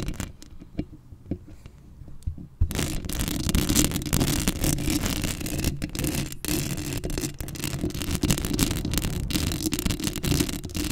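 Long acrylic nails scratch across the black metal mesh head of a microphone, with both hands working at close range. It starts with a few quiet, scattered clicks, then at about 2.6 seconds it turns into a dense, continuous, loud scraping with a heavy low rumble and a gritty, bright hiss on top.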